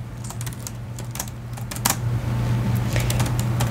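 Fingertips type on the white plastic keyboard of a silver laptop resting on a padded case. Quick, bright key clicks come in an uneven rhythm over a steady low hum that grows slightly louder toward the end.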